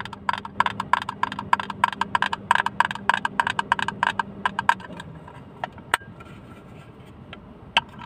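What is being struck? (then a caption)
Small plastic hinged box. A small blue plastic hinged box, held in one hand, is tapped with fingernails in a quick, uneven run of sharp, bright clicks lasting about five seconds. The box is then opened and closed, giving a few sparser, louder snaps over a faint steady hum.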